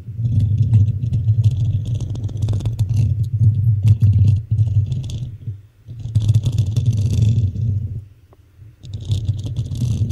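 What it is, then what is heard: Metal microphone mesh grille being scratched. Fingertips and long nails rub and scratch the hollow black metal mesh grille of a desktop microphone. The result is a dense, low, rumbling scrape with fast rattling scratches and faint bright hiss, coming in three long stretches with brief quieter gaps between them.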